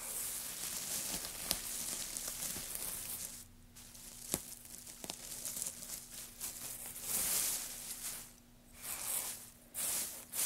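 A loose pile of thin, light wood shavings on a black surface is pressed and rubbed through by fingertips and palms. The result is a dry, bright crinkling and rustling with soft tearing-like swells and a few sharp crackles. A faint low steady hum runs underneath.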